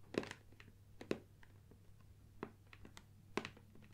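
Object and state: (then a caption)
Cardboard box tapped with fingernails. Long dark nails tap and scratch the top and sides of a closed, upright, medium-size hollow gold Nikon cardboard lens box standing on a wooden table. Four louder, hollow knocks with a low-mid body stand out, separated by softer, irregular scratches and light taps. Each knock dies away almost at once.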